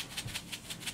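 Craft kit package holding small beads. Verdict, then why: Full. A Spirit of Cross Stitch Angel Ornament kit package from Brooks Books is shaken so the beads that came inside it rattle. The result is a quick, steady series of bright, high-pitched rattling bursts, like a maraca.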